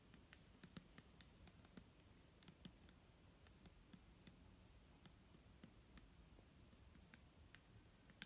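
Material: Plastic.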